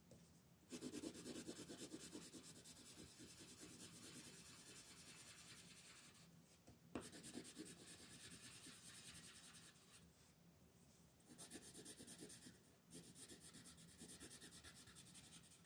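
A red wooden colored pencil shades across a flat white paper mandala coloring sheet held by fingertips. Quiet, dense scratchy rubbing comes in rapid back-and-forth strokes with a bright, papery hiss. There are short pauses between passes, and a couple of stronger scratches follow them.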